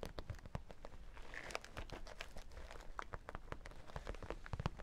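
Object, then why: Vinyl makeup bag. A holographic vinyl makeup bag is held upright with its vinyl side facing out while fingertips and nails tap and scratch it, with a brief pass over the sequin side in between. The result is a quiet, steady run of quick, dry taps and crinkly scratching that is mostly low and soft, with short bright clicks that die away almost instantly.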